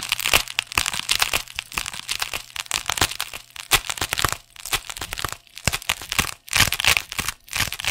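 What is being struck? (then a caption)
Thick neoprene fabric sleeve. Fingertips and nails scratch the textured surface of a thick, hollow, soft black neoprene fabric sleeve held next to the microphone. The result is a dense run of bright, crackly scratching in irregular bursts, with a few brief near-silent pauses and a faint low hum underneath.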